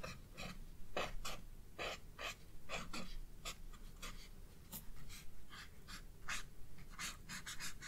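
A white-barrelled pencil is scratched across the page of a spiral-bound paper sketchbook lying flat on a wooden desk, shading a hyacinth drawing. Quick, bright, scratchy strokes come in irregular bursts, one after another, over a low, steady rumble.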